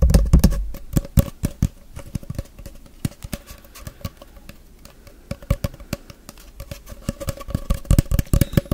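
Fingertips tap and rub a long, hollow brown cardboard tube held in both hands. Irregular, dull, low thumps with a hollow resonance come in quick clusters, with softer brushing between them. A faint steady mid tone hums underneath throughout.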